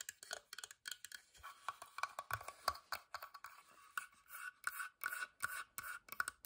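Fingertips and long nails tap rapidly on the side and lid edge of a small, hollow, whitewashed carved wooden box held at an angle. The result is a quick, uneven run of dry, clicky taps and light scratches with a hollow, woody ring around 1.1 kHz. The sound is bright with almost no low end, and each tap dies away almost instantly.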